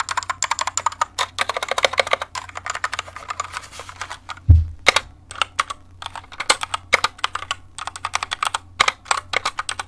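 A compact white plastic mechanical keyboard with pink keycaps is held up and tilted, then typed on and tapped with the long nails and fingertips of one hand. Dozens of rapid, bright, sharp clicks sound over a low steady hum, with one heavier, deeper thump near the middle.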